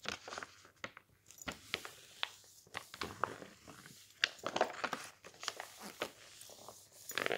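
A thin glossy page of an open magazine is lifted, bent and crinkled by fingertips while the other hand holds the magazine flat. The result is a quiet run of sharp, bright crackles and crinkles with short papery rustles between them, each snap dying away almost instantly.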